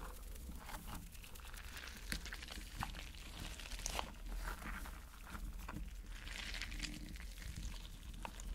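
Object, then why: Rubber mesh stress ball filled with gel water beads. A spiky rubber mesh stress ball filled with gel water beads is squeezed in the hand and rubbed with the fingers. The result is a steady stream of soft, wet crinkling and squishing with scattered brief bright clicks and pops over a low background rumble.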